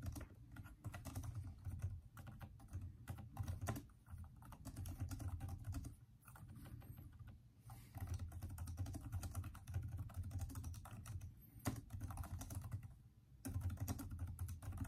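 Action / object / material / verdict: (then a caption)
tap / plastic laptop keyboard / plastic / none. Both hands type continuously with their fingertips on the hollow keys of a backlit plastic Microsoft Surface laptop keyboard. The result is a dense stream of soft, dull, low-pitched key taps with very short decay and little brightness, broken by brief pauses.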